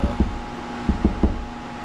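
Drywall is tapped between studs to find framing before hanging a mini-split bracket. Five short, low, dull thuds come in two groups, two quick taps then three, over a steady background hum. The taps sound hollow and bouncy, meaning there is no stud behind that part of the wall.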